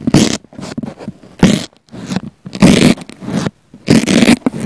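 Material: Foam.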